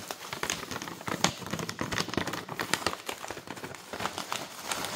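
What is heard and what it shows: Long nails rapidly tap, scratch and crinkle a printed flexible plastic pouch full of granola. Dense, bright crackling and crinkling bursts come in quick, uneven succession with very little low end, each snap dying away almost at once.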